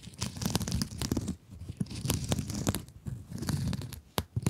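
Long acrylic nails scratch a rectangular blue glittery mesh scrub sponge close to the mic. The result is dense, crackling, crinkly bursts with a heavy low rumble and sharp bright ticks. Short pauses break up the scratching.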